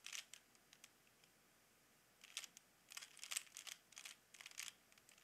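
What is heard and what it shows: Fingertips repeatedly turn the layers of a small, hollow plastic Rubik's cube with colored stickers. It makes quiet, bright, dry plastic clicks and short rattling bursts with brief pauses between them. There is almost no low end.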